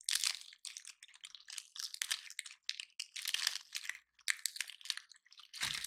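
A round, dry, gold-painted pine cone is held in both hands while fingertips and nails press, rub and break its woody scales. Dense bursts of bright, dry crunching and crackling come in quick irregular clusters with brief pauses between them. The sound is crisp and high with almost no low end.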